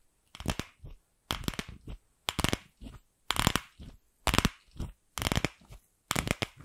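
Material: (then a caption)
Plastic. Long pink acrylic nails tap and scratch a palm-sized hollow pink plastic ball right beside the microphone. The result is a series of short, crackly scratching bursts, each followed by a smaller one, with bright clicks over a hollow, low plastic body and silence between them.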